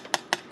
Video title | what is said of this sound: How to make white bread. No fuss. No kneading. One bowl. Easy for beginners. No oil & No eggs /Vegan | nice and crusty because of the the steam that we created